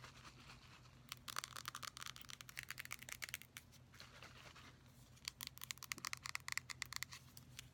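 Fingertips and nails tap and scratch the label and body of a full, pink metallic aerosol shave gel can with a white cap. Two runs of rapid, bright, dry clicking taps are separated by a softer stretch of scratchy rubbing, over a faint, steady low hum.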